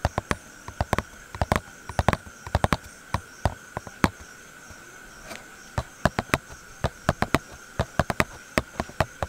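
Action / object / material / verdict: tap / small cardboard thermometer box / cardboard / none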